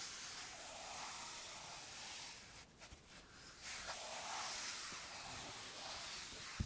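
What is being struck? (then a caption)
Wooden-framed chalkboard rubbed with a felt eraser. A flat dark chalkboard, about A3 size, in a light wooden frame lies flat while fingertips with painted nails rub a blue felt eraser across its surface. The result is a steady, soft, bright hiss of felt brushing the board, briefly dipping quieter in the middle before resuming.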